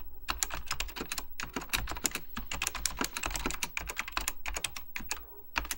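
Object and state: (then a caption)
Plastic mechanical computer keyboard being typed on. Fingertips type continuously on a beige plastic full-size Apple Extended Keyboard II, pressing its hollow plastic keycaps over mechanical switches. Rapid, bright clacking keystrokes come in a steady stream with brief pauses, each tap short and dry over a faint low hum.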